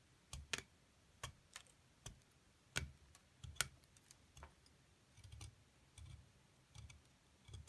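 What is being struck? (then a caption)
Plaster excavation block scraped with a metal tool. A flat metal scraper drags across the surface of a solid plaster block with a partly excavated top, loosening crumbs. It makes an irregular series of short, dry, bright scratchy clicks with faint low thumps, each stopping at once with no ring. The scrapes are quiet and spaced unevenly, with near-silence in between.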